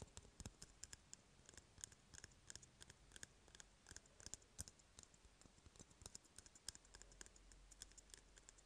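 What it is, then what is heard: Empty cardboard tube, hollow. An empty, hollow brown cardboard toilet paper roll is held in the hand while fingertips and nails tap and scratch along its surface. The result is a quiet, irregular stream of sharp, bright, dry clicks that die away almost instantly, with soft scratchy rustling and a faint low rumble between them.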